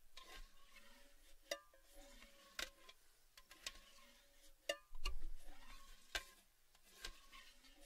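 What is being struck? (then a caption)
Cylindrical metal tin. Fingertips and nails tap the rim and inner wall of an empty, open, hollow red Baileys cylindrical metal gift tin. Sharp, bright metallic ticks sound at uneven intervals, each leaving a short hollow ring with steady mid tones and wavering resonances that sweep between taps.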